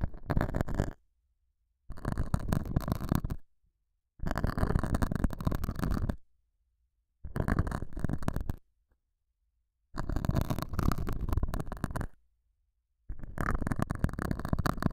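A metal dental scaler hook scratches the surface of a small, solid, square beige felt pad mounted over a small lavalier mic. Six bursts of dense, rough scratching are separated by short silences, giving a heavy, muffled rumble that is mostly low-pitched.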